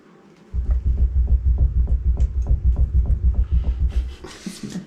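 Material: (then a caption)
Rock. A section of rock and plaster cave wall is knocked on during a cave house renovation, producing a rapid, fairly steady run of deep, dull, hollow thuds with almost no ring, followed by a brief brighter rustle at the end. The section visibly moves as it is struck and is judged loose and unstable, likely to come down, after other walls in the renovation had already collapsed.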